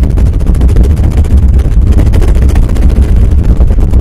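Fingertips and nails scratch and rub fast across the top of a black condenser microphone's hollow metal mesh grille. The result is a loud, continuous, boomy low rumble centered around 70 Hz, with dense, rapid scratchy texture and almost no high-end brightness.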